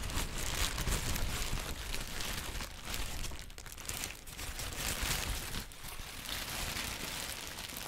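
A sheet of yellow-green textured tissue paper is held and crumpled with the fingertips of both hands. It gives a dense, continuous crinkling and crackling with bright, papery texture and a low rustle underneath. The loudness rises and falls as the sheet is worked, easing slightly around the middle before picking up again.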